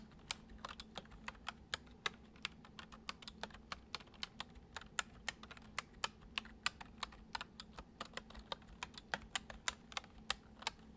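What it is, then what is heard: Plastic computer keyboard being typed on. Fingertips tap the keys of a full-size white plastic computer keyboard resting on a wooden desk, producing about 44 short, crisp, bright clicks in a steady, unhurried typing rhythm. Each click is sharp and dies away almost instantly, over a faint, steady low hum.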